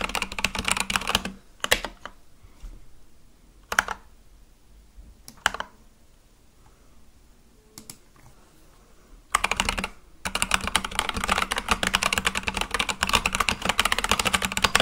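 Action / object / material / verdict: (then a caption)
tap / mechanical keyboard with plastic keycaps / plastic / none. Fingertips type on a full-size Akko mechanical keyboard with white and light-blue plastic keycaps on a black case, producing bright, clacky keystrokes. A quick burst of typing thins into a few scattered, isolated clicks during a quiet pause while the hands rest. Then steady, dense typing resumes and runs to the end.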